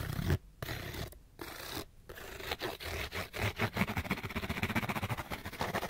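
Fingernails scratch along the face and edges of a small, hollow, printed cardboard light bulb box. A few longer rough scrapes separated by short pauses give way to a fast, continuous run of dry, crackly scratches with a hollow, low body and bright, papery grit.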